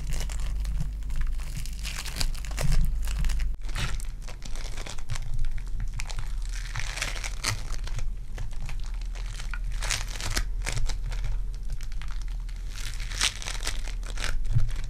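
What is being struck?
Foam bead clay ball.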